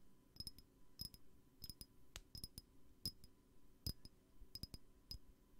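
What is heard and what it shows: Light, irregular taps on a glass perfume bottle, coming singly and in quick clusters of two or three. Each tap is a short, bright clink with a thin high ring that dies away almost at once, over a low, soft thud.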